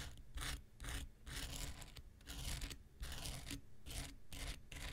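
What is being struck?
Foam nail buffer block with abrasive coating.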